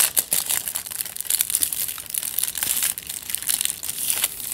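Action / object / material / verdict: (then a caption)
scrape / aluminium foil wrapped around a tube / aluminium foil / none. Fingertips and nails scratch and squeeze the crumpled aluminium foil covering a long tube held diagonally. The result is a steady run of bright, crisp crinkling and crackling, almost all of it high in pitch with virtually no low end. Each crackle snaps off instantly, with sharper bursts standing out against the continuous rustle.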